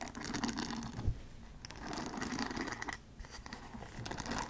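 Long acrylic nails scratch and tap across the wooden pin bristles and body of a handheld paddle hairbrush made of light bamboo wood. The result is a soft, dense crinkling scratch with brief clicky taps, rising and falling in waves.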